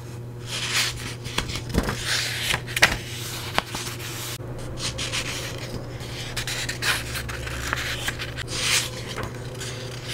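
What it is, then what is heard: Paperback book pages. Long-nailed fingers rub and scratch across the yellowed paper pages of an open paperback book held up in hand. Soft, bright papery rasps and scratches come and go, with a few sharper taps and crinkles standing out. A low, steady hum runs underneath the whole time.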